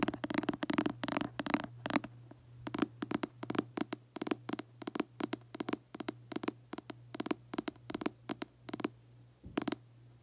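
Fingertips and short nails tap and scratch the glossy red cover of a paperback book held in both hands. A rapid series of short, crisp taps and scratchy clicks runs throughout, faster and denser at first, then spaced out. A steady low hum sits underneath.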